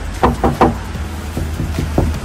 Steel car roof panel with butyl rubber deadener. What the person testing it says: kalau pakai peredam begini bunyinya beda